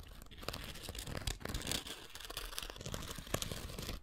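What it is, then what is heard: Foam sanding sponge scratched with a wooden stick. A thin wooden stick scratches across the gritty abrasive surface of a rectangular foam sanding sponge held in one hand. The result is a quiet, dense, dry rasping made of many short scratchy strokes, with bright upper hiss over a low, grainy rumble.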